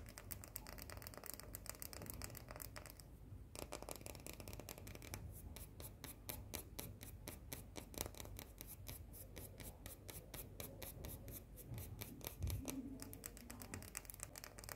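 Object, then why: White chocolate coated cookie. Long nails scratch and tap rapidly across a small round cookie with a white chocolate coating, producing a steady stream of fast, dry, bright clicks and scraping rasps over a low background rumble.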